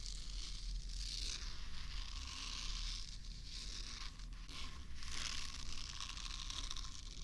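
Long manicured nails scratch across the bristle nubs of a small, solid, pink soft silicone facial cleansing brush held beside the left ear of a microphone. The result is a continuous, dense crackling and rustling scratch with a bright, hissy top that swells and fades in waves over a steady low rumble.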